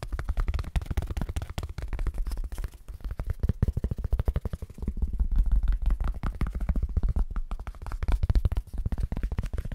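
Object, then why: Thin foam packing sheet. A thin, flexible white foam packing sheet, held close to the microphone and bent slightly, is tapped and scratched fast with fingertips and nails. The result is a dense, rapid stream of short, dull thumps with a deep, boomy low end and almost no brightness. The tapping swells and fades in bursts throughout.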